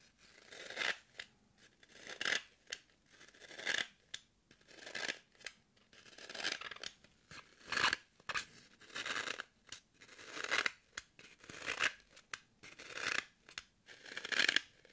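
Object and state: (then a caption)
Floral foam block scratched with nails. Long nails poke and scratch the side of a solid, soft, porous green floral foam brick held in the hand. The result is a series of dry, crunchy, bright scratching bursts that come at an uneven pace, with almost no low end and no ring after each stroke.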